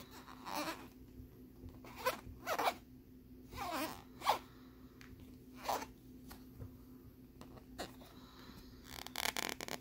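Fingernails scratch along the ridged surface of a flat, thin plastic lenticular picture card with a bear scene, held on a wooden board. Short, raspy, zipper-like scrapes come in separate bursts over a faint steady hum, ending in a quick run of scratches.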